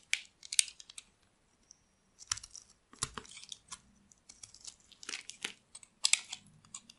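A metal blade carves and scrapes shavings off a solid rectangular white bar of dry soap. Quick bursts of crisp, bright scraping and crackling come in irregular clusters with short pauses between them. Each stroke ends almost instantly, leaving no ring or low body.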